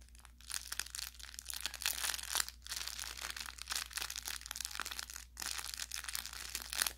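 Fingers press, squeeze and rub the fabric near the seam of a soft, stuffed orange velour plush carrot toy with crinkle filling. The result is a steady stream of bright, crackling crinkles that swell and fade in dense bursts, with short quieter gaps between handfuls.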